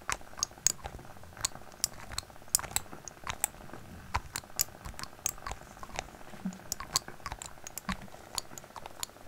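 Fingernails tap and scratch on the cap and sides of a small labeled glass dropper bottle held upright in front of the microphone. The result is a quiet, rapid series of sharp, bright clicks and ticks with brief scratchy rasps, each dying away almost instantly over a soft, low background.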